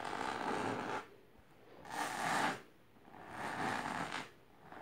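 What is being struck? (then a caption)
Fabric-covered box. Long painted nails on both hands scratch vigorously and aggressively across a medium, firm, boxy object covered in pink fabric with colourful line patterns, resting on purple cloth. Four bursts of dry, hissy scratching, centred in the midrange with a bright edge, alternate with short quiet gaps.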